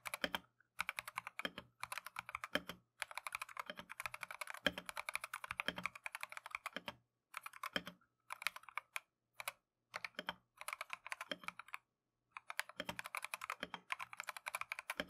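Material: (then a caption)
Plastic. A plastic Keychron V1 mechanical keyboard with Tangerine switches and green and cream Matcha PBT keycaps is typed on continuously by gloved fingertips. Rapid bursts of short, bright, clacky key taps die away almost instantly, separated by brief pauses.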